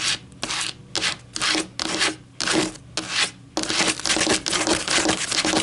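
Long metallic nails scratch rapidly back and forth over a flattened white paper coffee filter lying on a table. Dry, bright, papery rasping comes in short separate strokes at first, then runs into a dense, continuous scratching for the rest of the clip.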